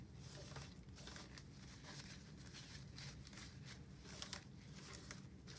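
A black plastic office desk phone base with a screen and keypad is wiped with a cloth wipe, gloved fingertips pressing over the buttons. Soft, crinkly rubbing swishes come in repeated bright bursts over a quiet, steady low hum.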